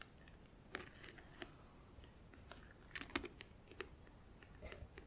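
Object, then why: Plastic compartment organizer box. Long acrylic nails tap rapidly on the front edge of a closed, hollow, clear plastic compartment nail organizer filled with press-on nails and glue. The result is a quiet series of short, bright, clicky plastic taps with a faint hollow body, separated by soft rustling between the taps.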